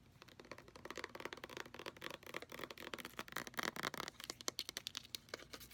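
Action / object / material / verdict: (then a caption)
tap / plastic lotion pump bottle / plastic / none. Fingernails rapidly tap the body, base and pump area of a white plastic lotion bottle with a brown pump that appears full. The result is a fast, uneven stream of dry, bright clicks with almost no low end, each dying away instantly.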